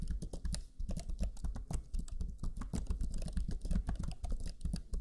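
Fingertips of both hands type rapidly on the black plastic chiclet keyboard of a Lenovo Legion 5 laptop, its low-profile plastic keys giving a dense, continuous stream of soft, short taps. Each press is a dull, low thump with a brief bright click that dies away almost at once.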